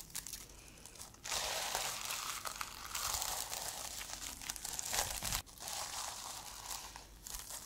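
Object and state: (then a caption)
Plastic sequin-covered notebook. Long nails scratch and brush across the plastic sequins on the fabric cover of a reversible sequin-covered notebook held upright. After a quiet start, a dense, bright, crinkly rasping swells in at about one second and runs with uneven surges, dips briefly near five and a half seconds, then continues a little softer.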